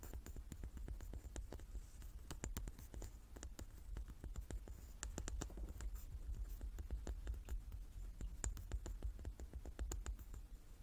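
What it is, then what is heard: Large wooden die. Long nails tap the faces of a hand-sized, solid, light wooden die with dark pips, held in both hands. Quick, dry clicks land in an irregular, steady patter, each dying away almost at once over a constant low hum.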